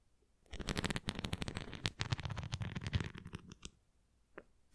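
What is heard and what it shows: Long nails scratch across the bumpy spokes of a red plastic flying disc toy. The result is a rapid series of dry, raspy scratches with strong low-end thumps and bright crackle. The scratching fades to quiet near the end, followed by a couple of faint final scrapes.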